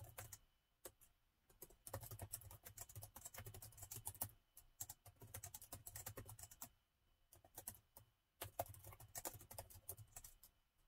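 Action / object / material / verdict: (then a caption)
tap / plastic laptop keyboard / plastic / none. Fingertips of both hands type rapid taps on the black plastic keys of a gold laptop keyboard. The result is bursts of quick, bright clicks over a soft low thump, broken by brief pauses.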